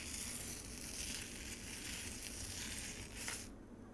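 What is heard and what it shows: Long acrylic nails scratch frozen pomegranate juice in a white plastic container, scraping up icy shavings. A steady, bright, crackly scraping continues for about three and a half seconds, then the high hiss drops away, leaving a quieter tail.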